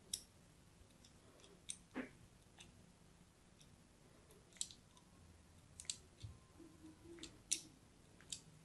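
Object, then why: Bar of soap. A thin blade scratches scoring lines into a solid purple-and-white striped bar of soap held in the hand. About nine short, crisp, bright scraping clicks ring out over a quiet background, with softer scratches in between.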